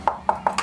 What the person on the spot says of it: kalau kita ketuk seperti ini sudah kelihatan nih kalau ini kopong